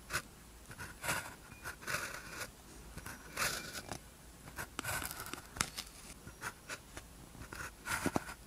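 A blue ballpoint pen tip scratches across a thin white practice sheet with a red grid, lying flat, as characters are written. The sound is a quiet, dry series of short, scratchy strokes with a bright, papery hiss, separated by brief pauses.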